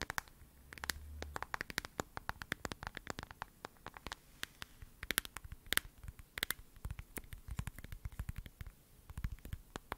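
Long acrylic nails tap and scratch the back and edges of a hand-sized smartphone in a glossy lavender plastic case with gold edges and a heart on the back, held close to the mic. Rapid, dry, sharp clicks with almost no ring stand out against a quiet background, bright ticking near 1.6 kHz over light scratching. A brief low rumble swells early on.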